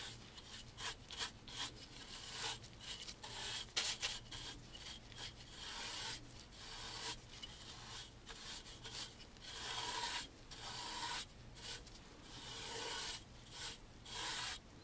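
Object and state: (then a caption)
Wooden picture frame being brushed. A wide bristle brush held in a gloved hand sweeps along the moulding on the top edge of a dark stained wooden picture frame while the other hand steadies the frame. Repeated bright, scratchy rasping strokes come in quick bursts with short gaps, over a faint low hum.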